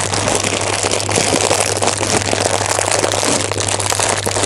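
A full orange plastic bag of snacks is held close to the ear and squeezed and crinkled with the fingers. It makes a steady, dense crackle of bright plastic rustling with no pauses, over a faint constant low hum.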